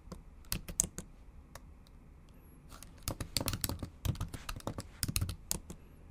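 Long acrylic nails type on the plastic keys of a bare, backlit MacBook Pro keyboard, giving about twenty sharp, bright clicks with a low thud under each. A quick burst of taps comes first, then a sparse lull. A denser, faster run of typing follows.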